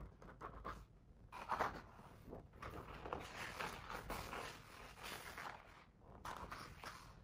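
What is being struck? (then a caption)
Paper page of a hardcover picture book. A fingertip traces and rubs along the printed text on the paper page of an open hardcover children's picture book lying on a fluffy rug. It makes a soft, dry scratching hiss in uneven strokes, with brighter swells and small ticks scattered through. The sound is quiet and close, with brief gaps between passes.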